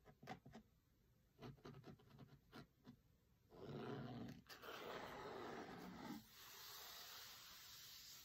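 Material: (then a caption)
Cloth, cardboard. Fingertips tap and trace over the linen cloth cover of a closed hardcover cookbook lying on a table, making a series of soft, dull taps with faint scratchy tracing between them. Both hands then rub flat across the cloth, making a louder, broad, bright swishing rasp that ends abruptly and gives way to a quieter, steady hiss.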